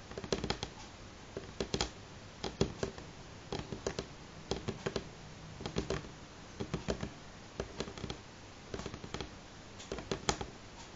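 Fingernails on both hands tap at moderate speed on a solid, light wooden table top. Quick, dry clicks with a faint woody tone around 390 Hz come in short clustered bursts with brief pauses, over a soft background hiss. Each click dies away almost at once.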